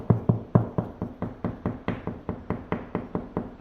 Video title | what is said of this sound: Adding handrails & a mailbox to my rental house | tapping on the wall. Hear that right there? That's pretty solid.